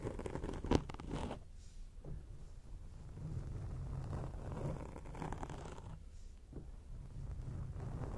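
A grey foam microphone windscreen is scratched with long acrylic nail tips, giving a close, muffled, rumbling scratch that stays mostly low with little high content. A sharp scrape stands out near the start, then softer rubbing and scratching continue in uneven waves.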